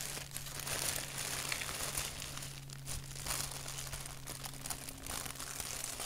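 Fingertips scratch and crinkle a thin white paper napkin with a black doodle print, held flat. A dense, continuous crackling rustle fills the high frequencies throughout, with a steady low hum underneath.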